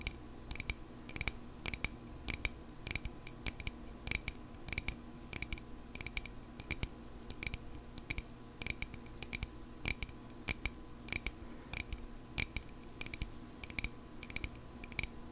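A small, solid silver metal pocket knife, held in both hands, is rapidly tapped with long pink acrylic nails. Dozens of sharp, bright clicks with almost no ring follow one another in quick bursts over a quiet low hum.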